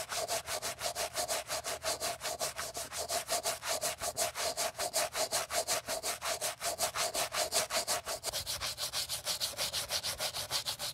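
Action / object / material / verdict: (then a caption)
scrape / leather sneaker with rubber sole, scrubbed with a bristle brush / leather / none. A wooden-handled brush held in gloved hands vigorously scrubs the side and toe of a white leather Gucci Ace sneaker with a rubber sole during a restoration. About 47 quick, brisk strokes come in a steady back-and-forth rhythm. Each stroke makes a bright, hissy bristle rasp with a faint tone near 630 Hz that drops slightly lower in the last few seconds.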